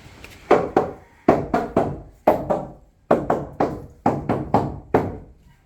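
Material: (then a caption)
Wood. Knocks travel along a wooden boat's timbers in groups of two or three, about fifteen in all. Each gives a short, resonant wooden thunk centered around 680 Hz that dies away quickly. Every timber sounds solid and free of rot, with none giving the dull, deaf sound that standing water would cause.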